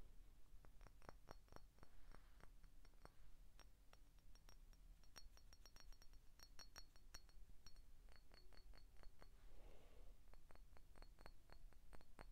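Short painted fingernails tap the neck and body of an empty, hollow green glass 7 Up soda bottle in a quick, uneven series. Each tap gives a brief clink with a faint bright glassy ring. The taps sound quiet over a steady low hum.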